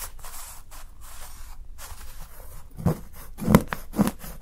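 A steel kitchen knife scrapes along the edge of a solid milk chocolate bar held by fingertips, shaving off thin curls. Soft, airy scraping and rubbing fills the first part, then a few sharper scrapes stand out near the end, each with a low thud-like body around 160 Hz.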